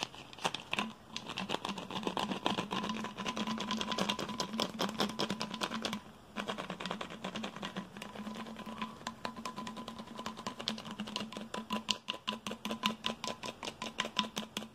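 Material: Plastic.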